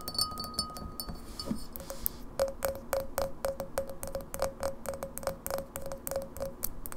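An empty, clear glass pint glass with a printed logo, held on a wooden table, is tapped rapidly around its side and base with long natural nails and fingertips. The result is a quick, uneven stream of sharp, bright clicks, each carrying a short, faint glassy ring.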